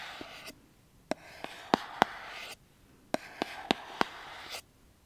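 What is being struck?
Small cardboard box.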